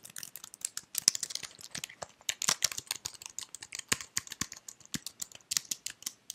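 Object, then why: Plastic computer keyboard. A white slim plastic computer keyboard is held up while fingertips with red nails press and tap its keys. Quick, dry, bright clicks and taps come in an uneven, rapid stream, with almost no low end and no ring after each hit.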